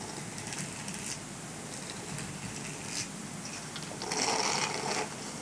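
Fingertips and nails scratch and rub the dense bristles of a small, flat, grey silicone dish scrubber, solid and flexible, held in the hand. A steady, soft, bright scratching hiss continues throughout, with brief rustling flicks along the way. A louder, denser stretch of rubbing comes near the end before it settles back down.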